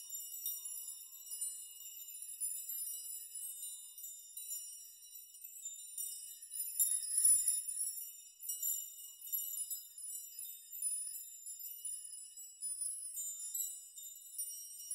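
A metal nail chime made of hanging long metal nails is gently rocked with both hands in a shaking motion, so the nails tinkle together. It makes a continuous, quiet, bright shimmer of high metallic jingling, with a brief louder swell of clinks about midway.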